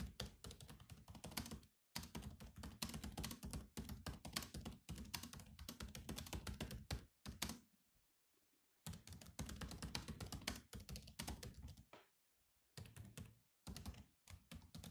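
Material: Plastic.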